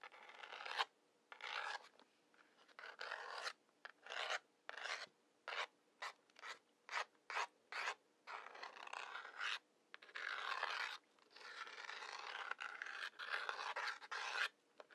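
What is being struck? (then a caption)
Cardboard matchbox striker strip and wooden match head. A wooden match head is scratched along the brown, sandpaper-like striker strip on the side of a large, hollow cardboard matchbox with its drawer partly open, drawn by the fingertips. The clip is a run of dry, gritty rasping strokes, some short and quick and some long, separated by brief silences. The scratching has a bright hiss centred around 1 kHz, and the match never catches or flares.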